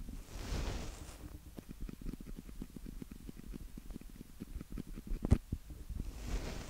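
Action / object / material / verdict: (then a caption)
tap / plastic handheld audio recorder / plastic / none. Fingertips of both hands lightly tap and rub the mic capsule heads of a small black plastic handheld audio recorder, a Tascam DR-05X with a hollow body. Close, bass-heavy rubbing swells open and close the clip, with a fast run of soft, dull, thumping taps in between and one sharper knock near the end.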